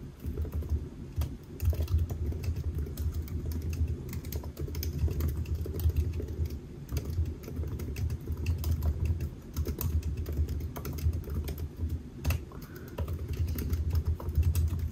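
Fingertips of both hands type steadily on a solid silver aluminium laptop with black plastic keys, resting on a white desk. The rapid, dense key taps are short and dull, with almost no ring, and sit over a constant low hum; brief pauses break the flow near 1 and 12 seconds.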